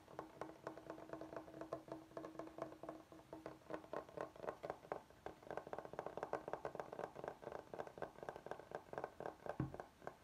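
Fingertips and nails rapidly tap and scratch the surface of a large, flat, solid bamboo chopping board held upright. The result is a dense run of short, dry, hollow knocks mixed with light scraping, with a faint steady hum under the first half.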